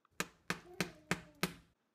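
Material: Bread.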